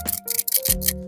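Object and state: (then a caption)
Joystick controller with a loose part rattling inside. A plastic Odyssey 2 game console joystick controller is shaken, giving about five bursts of bright, scratchy rattling from a loose part moving inside, over a steady low hum. The rattle shows something is loose inside the controller; it is not the top piece, since the bladder looks fine, and the loose part remains unidentified.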